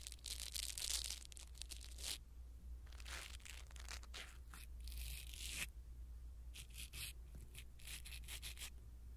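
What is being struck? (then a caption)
Foam microphone windscreen. A blue silicone-bristle ear pick brushes across a small black foam windscreen on a pin microphone, making bright, scratchy rustling strokes in uneven bursts. A steady low hum runs underneath throughout.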